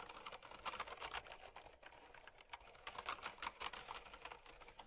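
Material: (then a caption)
Plastic. Long-nailed fingertips type steadily on a mint and white plastic typewriter-style mechanical keyboard with round retro keycaps, resting on a fur rug. A rapid run of bright, crisp switch clicks with a clear tone near 1.2 kHz is heard, each dying away almost instantly, with little low end and a brief lull near the middle.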